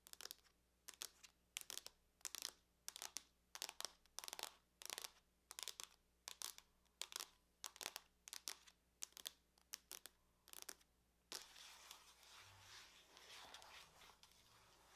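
Long nails tap and scratch the lid of a closed silver aluminum laptop, giving a steady series of short, bright, crinkly scrapes spaced about half a second apart. After about eleven seconds the strokes merge into continuous, softer high-pitched scratching across the metal surface until the end.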